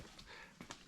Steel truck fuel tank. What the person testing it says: knock on it sounds good and Hollow